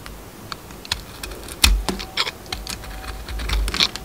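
A metal utility knife blade scrapes and carves the purple glitter coating off a round, solid bar of soap held in the hand. The result is a quick, irregular run of crisp, bright clicks and short scratchy scrapes over a faint low rumble, with one louder crunch near the middle.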